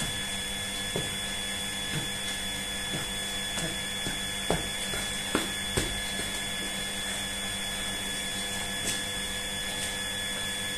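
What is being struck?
Nothing is struck.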